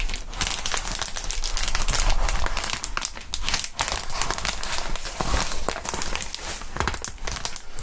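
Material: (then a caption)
Plastic. Gloved hands squeeze and crinkle a crumpled sheet of clear plastic bubble wrap with small air bubbles. The result is a steady, dense crinkling full of sharp, bright crackles over a low rumble, with no pauses.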